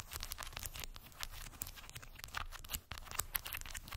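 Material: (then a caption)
Wood. Long white acrylic nails tap and scratch over a small rectangular cork board densely covered in solid round wooden beads. The result is a steady run of quick, dry, bright clicks mixed with a scratchy rattling rustle. Each tap stops at once with no ring, over a faint low rumble.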